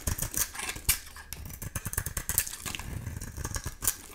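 A solid oval bar of dry soap, painted pink with an amber translucent interior, is held in the hand and shaved with a utility knife blade. Quick, bright scraping and cutting strokes follow one after another, each with a crisp high edge and a soft low thump beneath.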